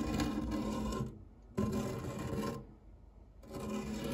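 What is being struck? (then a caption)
Metal fluted tart tin. A white silicone spatula scrapes and rubs across the flat base of a round, dark non-stick metal tart tin with a fluted rim, empty except for cake crumbs. Three rasping strokes, separated by quieter pauses, carry a steady low hum around 210 Hz under a broad scratchy texture.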